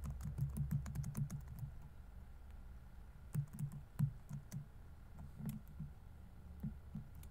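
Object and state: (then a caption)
Laptop keyboard with plastic keys. Fingertips type steadily on a dark laptop keyboard with plastic keys set in a hollow laptop body, producing a fast run of soft, low, thudding taps with brief bright clicking edges. The keystrokes come in quick bursts separated by short pauses, each tap dying away almost instantly.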